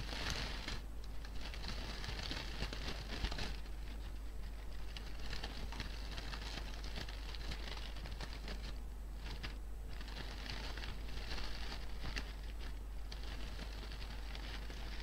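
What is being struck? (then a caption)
Artificial fabric flower bouquet. Hands with painted nails crinkle and rustle the petals and leaves of an artificial pink-and-white flower bouquet, likely fabric or plastic, up close. A steady stream of soft, bright crinkling and patter-like crackle goes on throughout, over a constant low hum.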